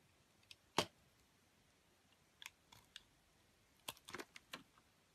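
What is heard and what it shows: A metal utility blade slices into a solid grey and white bar of soap and scrapes off its coating, making about ten short, crisp, bright scraping clicks. The clicks are quiet, dry and scattered irregularly, with a near-silent background between them.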